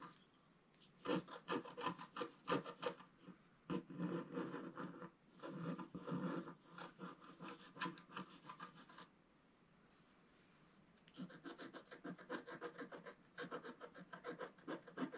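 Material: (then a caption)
Coated paper. A wooden stylus scratches the coating off a flat, solid, black-coated scratch art paper page about A4 in size. It makes quick, dry, rasping strokes in irregular bursts, with a quiet pause in the middle before the scratching resumes.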